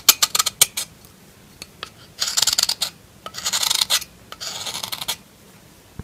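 A solid pink bar of soap is held in the hand while a metal knife blade scrapes its surface. First comes a run of short, crisp, bright scratches, then three longer raspy scraping strokes with pauses between them. The sound is high and dry, with almost no low end and no ring.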